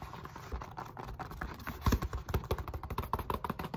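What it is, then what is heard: Foam roller, molded polyethylene foam. Long nails and fingertips scratch and tap the beaded side of a solid, textured molded polyethylene foam roller held upright. The result is a rapid, irregular run of soft, dull clicks and scrapes with a low, thumpy body and very little brightness. Each tap dies away almost at once, and the taps grow louder and more distinct in the second half.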